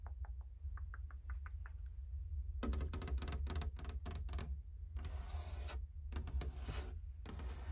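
Long painted fingernails tap and knock on the flat plank panel of a large dark brown painted wooden barn-style closet door with X-brace panels. Light, sparse taps give way to a dense burst of rapid knocking, then longer bright, hissing scratch-like passes. A steady low hum runs underneath throughout.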